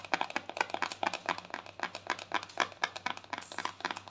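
A small round white plastic cosmetic jar is held in both hands while long thumbnails rapidly tap and scratch its lid. The result is a fast, irregular stream of short, dry, bright clicks and scratchy ticks over a faint steady low hum.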